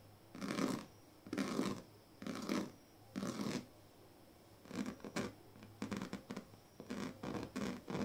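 Pink plastic comb teeth are scratched along the strips of a large, flat woven plastic sleeping mat. Four long, rasping strokes with quiet pauses between them give way to a quicker run of shorter, bright, crackly scratches.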